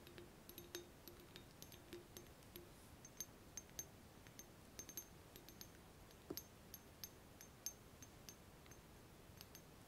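Fingertips and nails tap a small, hollow, empty clear glass laboratory round-bottom flask with a frosted ground-glass neck, held in both hands above a bubble-wrap-lined box. The result is a quiet, irregular series of many short, bright clinks and ticks that die away almost at once, with a faint low glassy tone near 293 Hz in the first few seconds.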